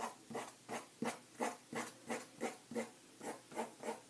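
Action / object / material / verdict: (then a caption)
scrape / pencil on paper sheets in a ring binder / paper / none. A green pencil held in the hand writes and scratches across white lined paper in an open ring binder lying flat on a table. Quick, regular scratchy strokes repeat about three times a second, each a short bright rasp with a slight mid-range tone, separated by brief quiet gaps.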